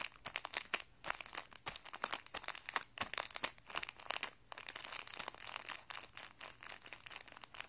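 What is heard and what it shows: Fingertips press, rub and crinkle a thin clear plastic packet of guitar strings, with a paper insert and coiled strings inside, lying on carpet. The result is a dense, steady stream of bright, crisp crinkles and sharp crackles with almost no low end.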